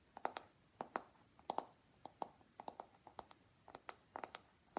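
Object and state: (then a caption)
Plastic paddle hairbrush. Fingertips and nails tap and scratch along the smooth plastic back of a long pink plastic paddle hairbrush with black bristles and a hollow body. About 21 quiet, dry taps come in uneven bursts, each with a hollow mid-pitched knock near 770 Hz and a bright click that dies away almost at once. Faint scratching fills the gaps.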